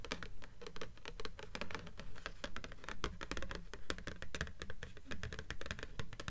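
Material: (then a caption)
Paper. Long nails on both hands tap and scratch the glossy cover of a blue paperback book with solid paper pages, lying on top of a stack of books. The result is a steady run of quick, dry clicks and taps mixed with short scratching strokes, each with a soft low thump and almost no ring.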